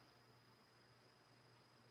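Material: Nothing is struck.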